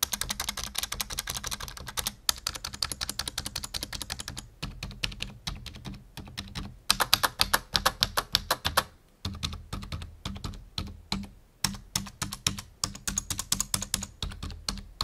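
Fingertips type on a full-size black plastic membrane computer keyboard resting on a wooden desk. Rapid, bright, clicky key taps come in quick bursts with brief pauses between them. A faint steady low hum sits underneath.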